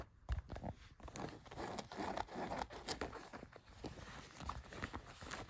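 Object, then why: Denim jeans fabric. Long nails and fingertips rub and scratch blue denim jeans laid flat, working over the back pocket and front pocket areas. The result is a quiet, continuous rough scratching and rustling, broken by soft low thumps and brief brighter scrapes as the strokes rise and fall.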